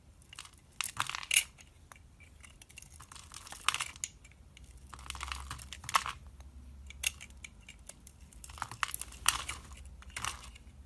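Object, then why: Bar of soap cut with a knife. A red-handled knife slices and scrapes thin pieces off a solid, hand-sized white bar of soap held in the hand. Bursts of crisp, bright scraping and crunching come and go, separated by quiet pauses.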